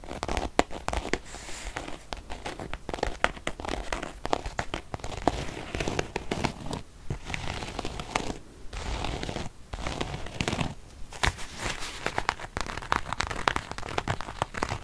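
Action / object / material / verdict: scrape / faux leather zip wallet / faux leather / none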